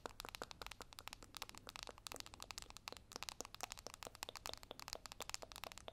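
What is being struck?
Small cardboard makeup box.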